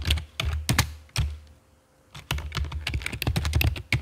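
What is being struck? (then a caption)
Plastic computer keyboard. Long fake nails and fingertips type on the keys of a full-size black plastic computer keyboard with a hollow body and keycaps, resting on a stone table. Quick, chunky taps with a deep low thunk and bright clicky edges come in bursts, pause for about a second, then resume in a faster, denser run. Each tap dies away almost instantly.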